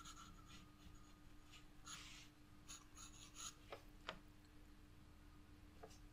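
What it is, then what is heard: Pencil on sketchbook paper. A black pencil shades flower petals on a white sketchbook paper page with steady scratching strokes. Soft, raspy bursts of bright scratching come and go over a low, steady hum, with a few short, sharp ticks near the end.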